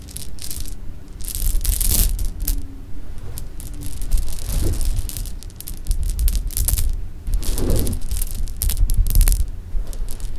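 Fingers pick up, drop and stir small, solid, sugar-coated jelly beans on a pink cloth. Bright bean-on-bean clicks and rustling come in clustered bursts over a steady low rumble throughout.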